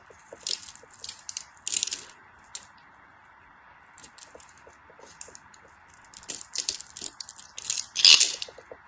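A small craft blade scrapes and carves a solid translucent yellow glycerin soap bar held in hands with white nails, breaking off crumbly flakes. Bright, crisp scraping and crunching bursts come in irregular clusters over a faint steady hiss, with a quieter stretch in the middle and the loudest crunch near the end.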